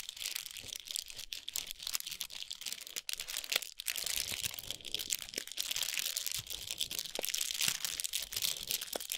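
Long pointed nails tap and scratch the wrapper of a large foil-wrapped chocolate bar with a paper sleeve, resting on a towel. Quick, dense crinkling and scratching fills the clip, bright and papery with almost no low end, broken by short sharp taps.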